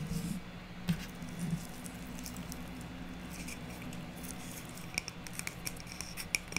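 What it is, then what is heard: Stack of wood slices. Long nails tap and scratch the top face of a hand-held stack of small, solid round wood slices with bark and twine. Soft scratching sits over a steady low hum, broken by sharp, dry taps that die away almost instantly, bunching together near the end with a faint bright click.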